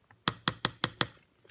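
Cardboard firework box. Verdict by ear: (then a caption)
Hard. Five sharp taps on a green "Green Devil" firework assortment box made of fairly hard, plastic-laminated cardboard. The taps give short, dry knocks with almost no ring, showing how hard the cardboard is.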